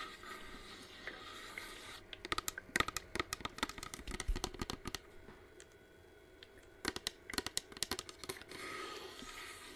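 Long nails tap and scratch the curved side of a hollow, hand-sized white plastic flame-effect aroma diffuser humidifier, held in both hands while it runs with its flame-lit mist. Over a steady soft hiss, two bursts of rapid, sharp, bright clicks and scrapes come from about 2 to 5 seconds and again from about 7 to 8.5 seconds, separated by a quieter stretch. Each tap is dry and short, with almost no ring.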